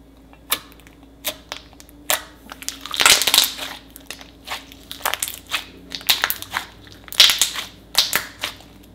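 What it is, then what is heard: Glitter slime being kneaded. A soft, glossy lump of purple glitter glue-based slime, solid and stretchy, is pressed, squished and kneaded with both palms and fingers on a marble table, then stretched and pulled apart. Irregular bursts of bright, crackly squishing pop out over a quiet background, each fading quickly, with the densest crackling clusters near the middle and toward the end.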